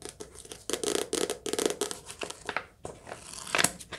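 Fingertips tap quickly on the soft cover of a paperback book, producing bursts of dry, papery taps and brushing sounds with bright high-frequency hiss. It is a lo-fi recording made on a phone or headphones in a cottage during rain, with steady background noise under the taps.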